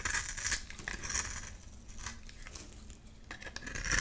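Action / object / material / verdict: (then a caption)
scrape / bar of soap scraped with a metal blade / soap / none. A metal blade scrapes and cuts flakes from a solid white rectangular bar of soap held in the hand. Dry, bright scraping and crisp crumbly crackles are louder at the start, fade to a softer rasp in the middle, and swell again at the end.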